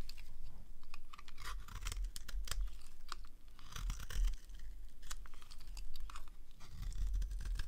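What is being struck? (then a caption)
Bar of soap cut with a small blade. A dry, solid, rectangular green bar of soap is held in the hand while a small blade slices thin strips from its edge. The clip carries a steady run of crisp, crunchy scraping and cutting sounds, with short bright rasps over a low rumble.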